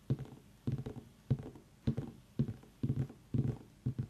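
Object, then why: Pumpkin. A pumpkin is tapped with the fingers, giving eight quick bursts of soft, hollow thumps with lighter follow-up taps in each. The sound is low and dull, centred deep in the bass, and each tap dies away almost at once.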